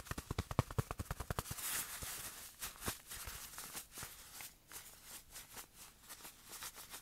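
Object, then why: Small padded fabric watch cushion. Fingertips tap rapidly on a small padded black fabric watch pillow, giving 13 soft, quick thuds in the first second and a half. A brighter fabric rustle follows as the cushion is squeezed in the hand, then quieter, irregular muffled taps and squeezes continue to the end.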